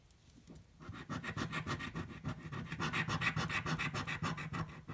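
A coin scratches the coating off a yellow, thin-card paper scratch-off lottery ticket held flat on a table. After a quiet first second, rapid back-and-forth scraping strokes follow at a fairly steady rhythm of about three to four per second. The strokes are gritty, papery rasps with a low thud from the table and a bright scratchy edge.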